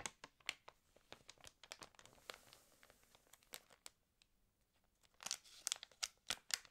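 Long nails tap and scratch across an open, water-damaged glossy paper fashion magazine, and a page is turned. The quiet, bright, dry clicks and crinkles come in quick, scattered ticks, then build into a denser burst of crinkling near the end.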